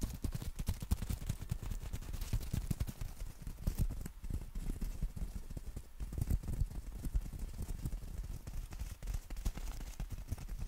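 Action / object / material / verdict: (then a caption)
tap / folded umbrella with nylon canopy / nylon fabric / none. Fingertips tap and scratch the black nylon canopy of a folded compact umbrella held horizontally. A dense run of soft, dull, low thumps comes with a faint papery rustle, each tap short and damped. The patter stays steady and quiet throughout.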